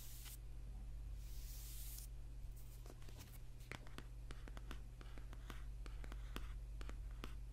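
Fingertips and short nails scratch and tap the dark paper cover of a thick paperback book with a solid block of pages, lying partly on a table. Soft, hissy scratching strokes give way to a loose, uneven run of light, crisp taps. A steady low hum sits underneath throughout.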